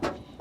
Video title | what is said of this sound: How to install a diesel heater in just 5 minutes | The casing of this unit is where it resonates quite a lot.